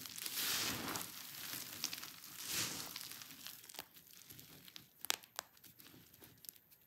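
Dry pink and white soap shavings spread on paving are pressed and squeezed by hand, crushing the flakes with a bright, crunchy crinkling sound. Two broad swells of crunching come first, then quieter rustling with a few sharp cracks near the end.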